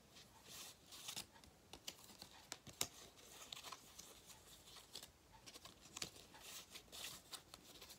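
A thin gold metallic foil cardboard galette crown, held in both hands, is rubbed, scratched and flexed by fingertips. The result is soft, bright crinkling and scratching with many short, sharp ticks scattered over a quiet hiss. Most of the sound sits in the high range, with almost no low end.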